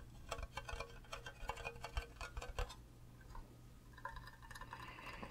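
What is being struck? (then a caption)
Hollow plastic mug. Fingernails tap the sides and base of an empty, green, cube-shaped hollow plastic Minecraft creeper mug with a handle. Quick, dry, clicky taps with very short decay come in a rapid run, then turn lighter and sparser with a faint hollow ring. A steady low hum sits underneath throughout.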